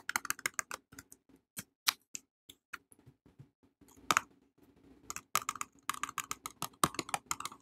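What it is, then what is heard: Cardboard soap box tapped with fingernails. A small red printed cardboard box holding a soap bar is held in both hands and tapped and scratched on its faces with long painted nails. Quick, dry, bright clicks come in irregular bursts, with brief scratchy rustles in between. The taps grow denser toward the end, each dying away almost instantly.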